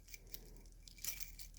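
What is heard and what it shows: A cheap Shein quartz wristwatch with a metal band is shaken, its bracelet jangling with light, tinny metallic clinks and rattles. The protective plastic is still on the band, damping it, yet the sound stays thin and high-pitched, marking the watch as junk.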